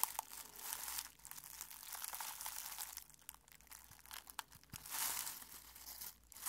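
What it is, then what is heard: Dried rose petals being crushed. Fingertips crush and rub brittle dried rose petals held in a clear glass bowl. The result is a dense, quiet, bright crinkling and crackling with many quick crunchy snaps, swelling and easing over the clip with almost no low end.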